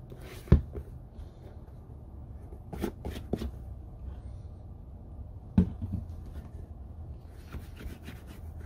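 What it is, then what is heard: Leather boot handled. Fingers and a palm rub over the toe and shaft of an empty, hollow brown leather Red Wing Iron Ranger boot lying on a table. The result is a low, dull, continuous rubbing and scuffing, with two sharp, short knocks standing out and a few softer taps between them.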